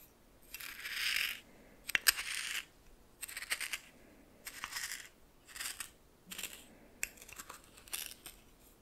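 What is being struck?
Coarse salt in a small clear bowl stirred with a plastic spoon.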